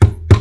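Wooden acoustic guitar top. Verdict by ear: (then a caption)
Loose. Two hard knocks on the wooden top of an Epiphone FT-145 acoustic guitar give short, low, boomy thuds centered near 100 Hz with almost no high-frequency content, each fading into a faint low hum. The knocks reveal braces that have come unglued from the top and need to be glued back on, a fault linked to the bridge pulling up under string tension.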